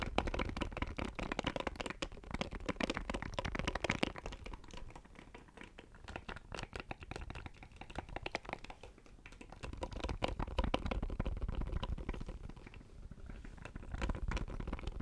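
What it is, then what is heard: Plastic electronic box. Fingertips and nails tap rapidly on a small, hollow black plastic audio interface as it is moved near the microphone. The result is a dense, irregular stream of short, dry clicks and taps with a low body and some bright edge. The tapping swells and fades in loudness over the clip.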